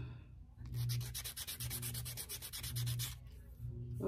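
A black nail file held in one hand is rubbed rapidly back and forth across the tip of a long pink artificial nail, an acrylic or gel extension. A quick run of bright, raspy scraping strokes pulses steadily over a low background hum, then stops near the end.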